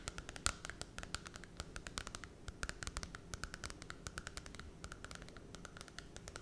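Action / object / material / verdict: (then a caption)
tap / glossy cardboard book cover / cardboard / none. Long red nails scratch and tap the glossy holographic cardboard cover of a small Cinderella children's book held in both hands. Dozens of quick, dry, bright clicks and scratches follow one another with almost no ring, over a faint low rumble.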